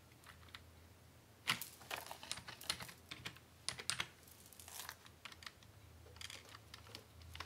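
Both hands type steadily on a full-size black plastic Dell computer keyboard with a hollow housing, tapping the keys rapidly with fingertips and short nails. The result is an irregular run of sharp, bright, clacking key clicks that stop almost instantly, with some louder bursts among quieter taps. A faint low hum runs underneath throughout.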